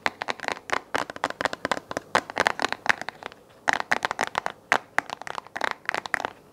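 Fingertips and nails tap and scratch the hollow round base of a small white plastic desk lamp held in both hands. A fast, uneven run of dry, clicky taps with brief scratchy rustles, centered around 1.8 kHz with bright edges and almost no low end. Each tap dies away almost instantly.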